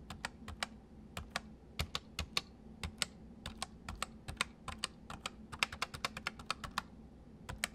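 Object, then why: Plastic mechanical keyboard. Fingertips type on the letter keys and the arrow and number-pad area of a white full-size plastic MSI mechanical keyboard with hollow keys. About 37 short, bright, clacky keystrokes come in an uneven rhythm, each dying away almost instantly over a faint low hum.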